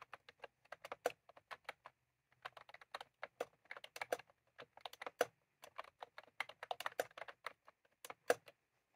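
Both hands' fingertips type continuously on a full-size plastic computer keyboard with round cream typewriter-style keycaps, resting on a desk. Quick, dry plastic clicks and clacks come in irregular bursts with brief pauses, some strokes landing louder and sharper than others.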